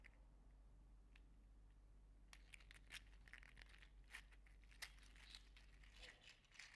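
A green/teal segmented 3D-printed PLA articulated slug toy is held in the hands and flexed and squeezed so its plastic segments click. After about two seconds of near-quiet with a low steady hum and a few faint ticks, a dense run of dry, bright, irregular clicks and crinkly rattles follows, each snapping off almost instantly.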